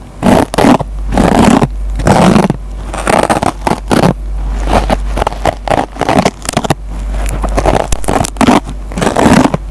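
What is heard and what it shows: A metal pencil tip scratches the green nylon scouring pad of a dry foam sponge, making repeated rough, crackling scrapes in uneven bursts. A steady low hum runs underneath.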